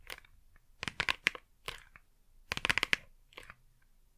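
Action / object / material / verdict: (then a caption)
tap / small flat cardboard box / cardboard / none. A small, flat, printed cardboard Blu Tack retail box, hollow and probably holding adhesive, is held upright in both hands and tapped and scratched with long manicured nails. Clusters of quick, dry, bright clicks and scratchy crackles come in short bursts separated by near silence. Each tap dies away almost instantly, with no ring.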